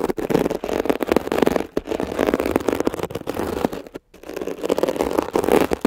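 A metal ear pick rapidly scratches a blue mesh-covered textured foam scrub sponge while fingertips hold its edge. The sound is a dense, crackling, scratchy rasp centered in the mids, coming in uneven bursts with a brief silence just before the scratching resumes.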